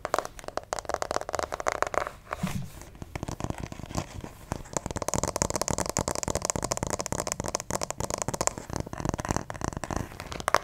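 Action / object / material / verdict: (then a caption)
scrape / hollow plastic acupuncture doll / plastic / none. Fingernails scratch and grip the head and torso of a white plastic acupuncture doll held close to the microphone. The result is a dense stream of dry, crackly scratches and quick clicking taps with crinkly, bright texture. A brief softer, lower rub breaks it up early on.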